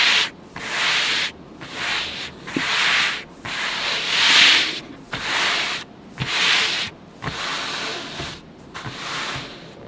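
Fingertips of both hands, with short manicured nails, rub and slide across the blue paper of a large spiral-bound sketchbook lying flat on a table. The result is a series of bright, hissy, sanding-like strokes separated by short pauses, with almost no low end.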